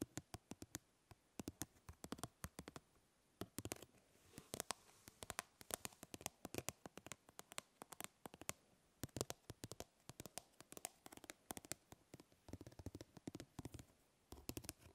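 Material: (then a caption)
Plastic. Fingernails scratch across a plastic grid-mesh fly swatter, producing a quiet, irregular stream of dozens of sharp, dry ticks and clicks. Each snap is brief and broadband, with bright edges and no ringing, set against a faint low hiss between bursts.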